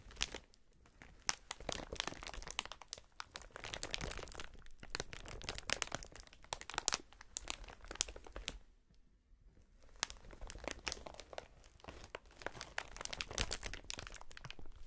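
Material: Plastic.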